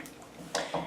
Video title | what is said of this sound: NYX Total Control Foundation Review! Airbrush Finish?! All Day Coverage!? | shake it and it's like really liquidy you can hear it